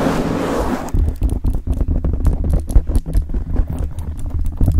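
Long acrylic nails of both hands scratch and rub all over a rounded black foam windscreen, soft and porous over the hollow head of a decorated microphone. A steady, muffled rubbing gives way to a quick run of dense, scratchy strokes with deep, boomy thumps and bright crackly edges. The result is a close, low-heavy rumble of rough scratching with no tail between strokes.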